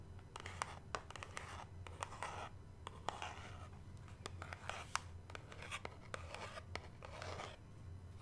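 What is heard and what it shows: Long nails tap and scratch the sides of a small, hollow, white cube-shaped cardboard product box held close to the mic. Sharp, dry taps cut through soft, hissy scratching bursts over a low, steady hum.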